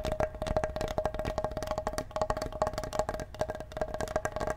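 A large solid wooden cutting board, held in both hands and briefly tilted, is tapped rapidly with the fingertips. A quick run of dry, hollow wooden knocks rings with a clear tone around 625 Hz, each tap dying away almost at once.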